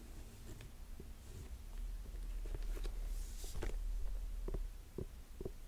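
Fingertips and nails tap and scratch the suede of an empty black suede ankle boot with metal buckles. Soft, dull taps and brief scratchy strokes sit over a steady low rumble, with a few faint bright hisses.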